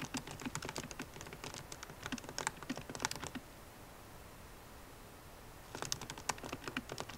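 A MacBook Pro keyboard with plastic keycaps in an aluminum body is typed on with long nails and fingertips, producing quick, bright clicking taps. The taps come in steady bursts for about three seconds, stop for a couple of seconds of near silence, then pick up again near the end.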